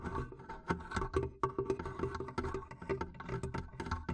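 Long nails tap and scratch the top of the wooden lid, near the metal clasp, of a medium hollow wooden barrel chest whose lid stands open with a microphone inside. A quick, irregular run of short, hollow wooden knocks with a resonant tone near 390 Hz dies away almost instantly. Softer scratching fills the gaps between the taps.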